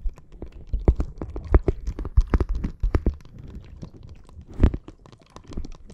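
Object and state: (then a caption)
Plastic bag of water beads. A clear plastic bag full of red gel water beads rests on the microphone and is tapped and scratched with long nails. Irregular, short, crunchy taps and squishy scratches come in quick bursts, mostly low in tone, with a louder cluster near the end.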